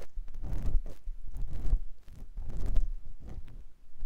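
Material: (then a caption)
Silicone. A clear silicone ear pick scratches inside the canal of a white silicone ear on a binaural microphone block. The sound is a series of close, muffled scratching and rustling strokes, heavy in low rumble with little brightness, swelling and fading as the pick moves.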